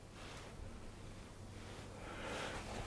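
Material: Nothing is struck.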